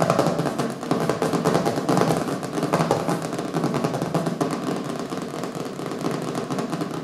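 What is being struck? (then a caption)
Hardcover book, cardboard cover. Fast fingertip and nail tapping with both hands on a small, solid hardcover book with a colorful printed cover lying on a wooden table. The result is a dense, continuous patter of dull, woody knocks centered in the low-mid range with little bright content. Each tap dies away quickly.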